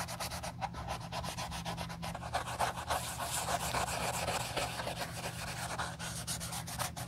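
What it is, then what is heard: Leather shoe being rubbed. A wool dauber on a clip rubs dye over the toe and vamp of a hollow, empty brown leather slip-on sandal held in black-gloved hands. The result is a steady, busy scrubbing texture of quick, closely spaced strokes with a bright, airy hiss on top and a faint low hum beneath.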